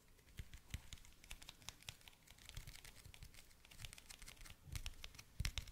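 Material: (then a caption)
Plastic. Fingernails tap and scratch a small, hollow, clear plastic toothpick case held in the fingers. Quiet, rapid, crisp clicks and scratchy crinkling patter on, with bright ticks over soft low thumps, a few taps standing out louder near the end. Each tap dies away almost instantly.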